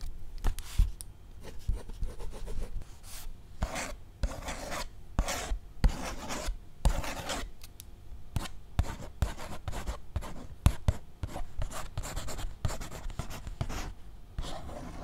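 A red pen scratches and writes across the paper pages of a thick paperback book held upright. Quick, rough scratching strokes come in bursts that rise to a bright, papery rasp, with soft low taps from the pen against the solid book underneath.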